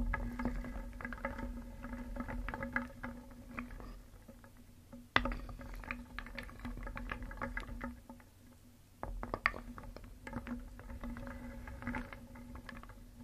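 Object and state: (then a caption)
Wooden pieces stirred in a wooden bowl. A wooden spoon stirs small painted solid wooden cones, eggs and discs in a round wooden bowl. The pieces clack against each other and the bowl in a continuous dry clatter. A low steady hum sits underneath, and two brief pauses near the middle mark new rounds of stirring.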